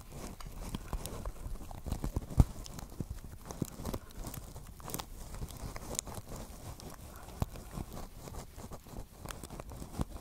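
A small, hollow pink basket woven from plastic strips is held on top of a microphone and tapped and scratched with long nails. Many quick, dry, low taps sit over a soft, continuous scratchy rustle, with little high-end brightness.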